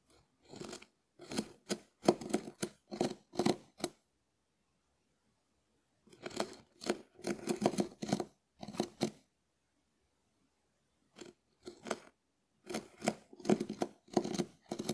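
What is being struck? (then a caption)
Dried konjac sponge scraped with a wooden spoon. A hand-sized, hard dried konjac sponge held in the hand is scraped with the bowl of a small wooden spoon. The result is bursts of dry, crisp scratching strokes with a papery, crackly texture, grouped into clusters separated by silent pauses.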